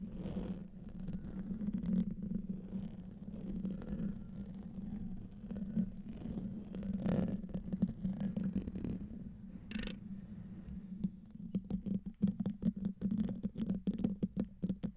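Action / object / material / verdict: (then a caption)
scrape / metal mesh microphone grille / metal mesh / none. Fingernails of both hands, with rings on the fingers, scratch the hollow metal mesh grille of a silver microphone. A dense, low, rasping scrape with a steady hum-like tone near 200 Hz continues throughout. In the last few seconds it breaks into quicker, separate scratches.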